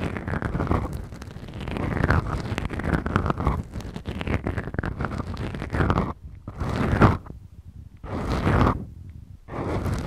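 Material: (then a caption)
Foam. Long acrylic nails slowly scratch two small black, soft, porous foam windscreens on the mics of a Tascam recorder. The result is a deep, muffled, rumbling scrape with sweeping strokes, heavy in the low end. Toward the end the strokes come in separate swells with near-silent gaps between them.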